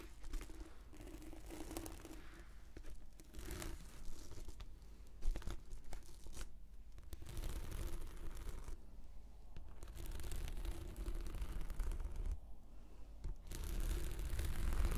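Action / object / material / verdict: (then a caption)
scrape / rolled textured PVC anti-slip mat / PVC plastic / none. A translucent, textured PVC anti-slip mat, rolled into a hollow tube and held sideways, is scratched with the long nails of both hands. The result is a quiet, continuous stream of scratchy, crinkling and tearing-like rasps with a low, hollow rumble underneath. There are brief pauses in the scratching along the way.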